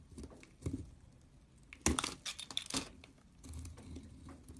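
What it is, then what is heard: Bar of soap being shaved. A blade shaves dry curls off the same beige soap bar, making bright, crinkly scraping bursts with a soft low body beneath. The sharpest, loudest strokes come in the middle, each ending quickly with almost no ring, followed by a longer, quieter scraping pass at the end.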